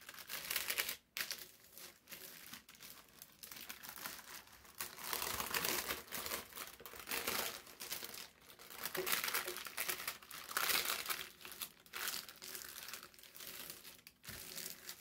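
Flat palms and fingertips smooth and rub a large, thin, folded and wrinkled brown parchment-like paper sheet lying on a white table. The result is steady, bright crinkling and rustling, with almost no low end, rising and falling in loudness over the clip with brief quiet gaps.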